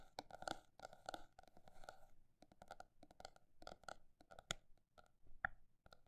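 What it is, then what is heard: Notebook tapped. A paper notebook is tapped with quick, irregular taps, some in fast clusters and some spaced slower. The taps are quiet, dry and papery with a mid-range tone and no ring, with a few brighter clicks standing out.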